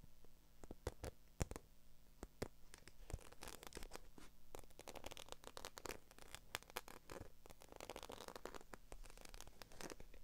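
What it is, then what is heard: Faux leather handbag scratched and tapped with nails. Long acrylic nails scratch and tap across the scales of a small, hollow, black croc-embossed patent faux leather handbag. The result is dense, dry clicks and short scrapes with almost no ring, over a low hum.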